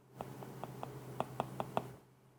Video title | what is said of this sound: 15.000 TL'YE HANGİSİ DAHA İYİ? Huawei MatePad 11.5 VS iPad A16 Karşılaştırması | Bu gayet tok ve güzel bir ses ya.